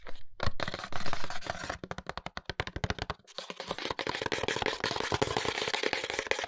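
A small printed cardboard cosmetics box with a window and a bottle inside is turned in the hands while fingertips and nails tap and scratch its sides. Quick, dry taps with a hollow low body alternate with crackly, papery scratching. There is a brief pause just past three seconds, then a denser run of scratches and taps.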